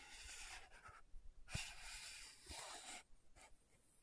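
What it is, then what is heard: Plastic powder jar lid scratched. Long nails scratch the dark purple lid of a small round plastic loose powder jar with a clear body. Soft, bright rasping scrapes come in bursts, with one sharper tap near the middle.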